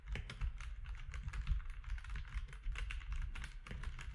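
Fingertips of both hands type steadily on a compact mechanical keyboard with grey, white and orange plastic keycaps. Quick, crisp clicks with short tails sit over a steady low rumble.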